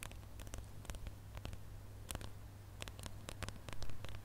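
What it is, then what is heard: Glitter plastic star ornament. A gold glitter-coated plastic star ornament is held in both hands while fingernails scratch across its ridged glitter surface. Quick, bright scratchy ticks and rasps come in scattered bursts over a steady low hum, growing a little louder near the end.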